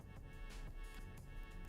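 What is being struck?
Nothing is struck.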